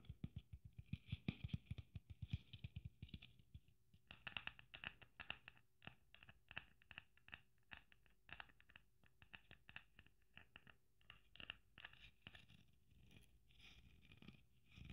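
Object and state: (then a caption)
Sequin Christmas ornament. A red sequin Christmas ornament with gold braid is held in a hand while long nails tap and scratch across the sequins. Quick, soft taps come in dense runs, each with a dull low thump and a bright, crisp sequin crackle that dies away almost at once. Brief scratchy rustles sit between the taps.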